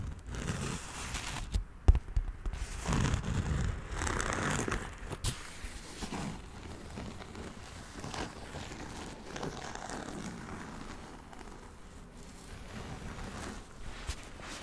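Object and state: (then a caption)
Nylon fabric backpack. A large, soft, hollow olive-green nylon or canvas backpack is held up beside a microphone while fingertips and a palm tap and rub its fabric. The result is quiet, irregular pattering and crinkly rustling with a dull, low-heavy tone, with one sharper tap near the start.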